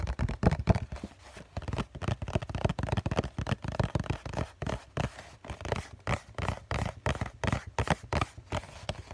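A hollow COCON cardboard tissue box, held against the chest, is tapped and scratched on its bottom face with the fingertips of both hands. Rapid, uneven bursts of soft, low, thuddy taps mix with dry scratching, with almost no bright high end. Each tap dies away almost instantly.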